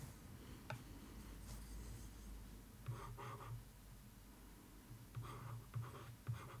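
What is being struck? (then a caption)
Paper-covered cardboard box lid. A thin wooden stick traces, taps and scratches across a cardboard box lid covered in newspaper-print paper. Soft, dry scraping strokes come in bursts with a few light taps over a steady low hum.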